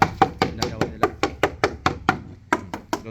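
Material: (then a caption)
Wood. Knuckles rap the wooden frame of a fishing boat for sale in a steady run of 15 sharp, dry knocks, each with a short, hollow mid-pitched tone around 790 Hz that dies away almost at once, with a brief pause before the last few. The short, solid knocks show the frame is hard because its wood has dried out.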